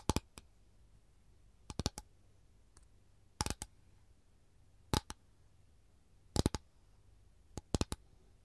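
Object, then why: Thin capiz shell tray. Long gold nails tap and scratch the surface of an empty capiz shell tray, a thin, rigid, flat rectangular windowpane-oyster shell tray with a lemon print. Six quick clusters of two or three sharp, bright clicks sound over a quiet, low hum. Each click dies away almost instantly.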